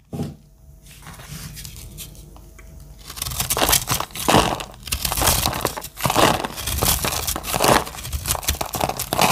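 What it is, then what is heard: Dry soap bar being carved. A solid, oval, blue-green speckled dry soap bar is held in the hand and carved with a metal blade, so crunchy flakes fall onto a pile. A quiet start gives way to dense, bright, crackling crunches and scraping strokes that come in uneven bursts.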